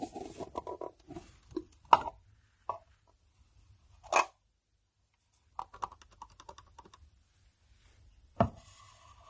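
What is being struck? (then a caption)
Small metal watercolour tin. Fingernails tap on the glossy lid and edges of a closed black metal Sennelier watercolour tin, hollow with paint pans inside and held in hand. Light, quick clicky taps with a hollow, tinny ring alternate with sharper, louder strikes and short scratchy patters, separated by quiet pauses.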